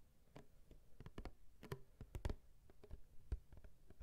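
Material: Cardboard.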